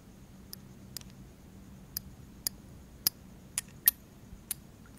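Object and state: Small glass perfume bottle.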